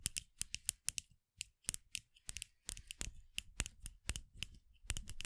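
A short hollow bamboo cosplay muzzle is held in the hands close to the microphone and tapped with long acrylic nails. Quick, crisp clicking taps come in irregular bursts, with brief stretches of denser scratchy clicking between them.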